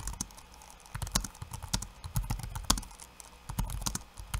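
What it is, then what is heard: Plastic laptop keyboard being typed on. Bare fingertips tap rapidly on a backlit laptop keyboard with plastic keycaps and hollow key switches over a solid chassis. The clicks are short and bright, over a low thud, and come in uneven bursts.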